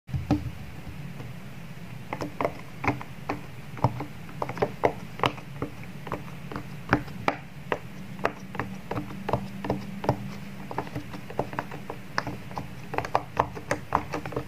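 Fingertips press and pop the hollow bubble domes of a square, palm-sized rainbow silicone pop-it fidget toy lying on a wood-grain table. A steady series of short, dull pops sounds over a faint low hum, each click dying away almost instantly.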